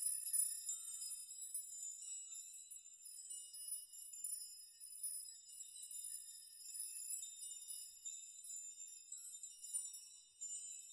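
Hands grasp, push and shake a chime of many long hanging steel nails so they clink together. The result is a quiet, continuous, bright high tinkling and jingling with short rings and no low end.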